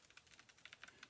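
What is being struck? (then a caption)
Pottery glaze with crystals poured onto a plate. Peacock pottery glaze with crystals in it is poured from its bottle onto a plate or small bowl. The crystals make a quiet, bright pattering of about ten light ticks as they come out.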